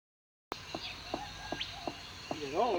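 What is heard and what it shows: A termite-eaten tree trunk is tapped to check whether it is hollow while looking for wood to make a didgeridoo, giving short, hollow wooden knocks over a steady outdoor background with some chirping. The trunk proves hollow, with a hole right through the pole made by termites.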